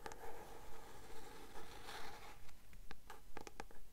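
Long nails tap and scratch the glossy card cover of a paperback novel held upright, a solid paper book. A steady, rhythmic scratching runs over a low rumble, with sharper, brighter taps clicking in near the end.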